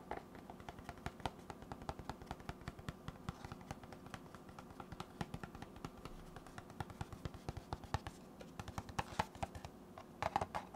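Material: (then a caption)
Cardboard. A hollow, rectangular white cardboard box held in the hands has its flat face tapped and scratched with fingertips and nails. A steady, fast stream of short, dry, hollow taps with a low-mid body dies away almost instantly, mixed with faint scratchy rustling. Sharper, brighter clicks stand out near the end.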